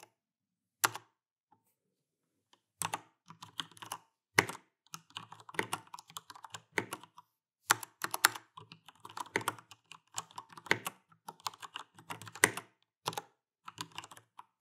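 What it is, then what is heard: Plastic mechanical keyboard. Fingertips type continuously with both hands on an Alienware AW410K, a full-size backlit mechanical keyboard with Cherry MX Brown switches and plastic keycaps. Short, sharp, bright clacks come in quick bursts separated by brief pauses, with a few louder strikes standing out. Each keystroke dies away almost instantly.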